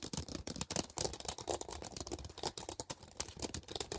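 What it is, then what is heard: Plastic CD case, tapped and scratched. Long painted nails rapidly scratch and tap on a thin, flat, transparent hard plastic CD case lying on a blanket. The result is a dense run of quick, dry clicks and bright scratching with very little ring.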